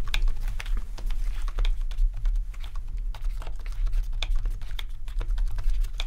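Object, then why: Plastic membrane keyboard. Both hands type rapidly with their fingertips on a full-size black plastic RGB membrane keyboard with rainbow backlit keys. The quick, bright key taps run continuously over a steady low hum.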